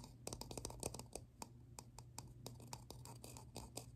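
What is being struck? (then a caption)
Plastic object. A plastic object is tapped up close in a rapid, irregular series of short, sharp clicks with bright, crisp tops that die away almost instantly. A steady low hum sits underneath throughout.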